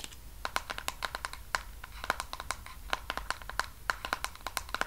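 Fingernails tap rapidly on the hollow sides and white lid of a medium pink plastic body cream tub held in the hands, making quick, dry, typing-like clicks with a hollow tone around 1.4 kHz and bright edges. Each tap dies away almost instantly, with a faint crinkle, possibly from the label band, between them.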